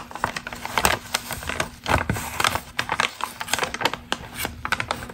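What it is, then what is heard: Crinkled glossy magazine page. Long green acrylic nails scratch and crinkle a single crumpled glossy Ralph Lauren magazine ad page held in both hands. The thin paper gives a dense run of crisp, bright crackles and sharp ticking snaps that rise and fall unevenly, with no voice.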